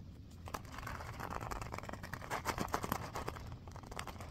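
A small, filled purple faux-leather (vinyl) pouch is held in both hands and scratched with fingernails. The result is a quiet, continuous run of dry scratching and crinkling with quick, tightly packed ticks over a soft low rumble.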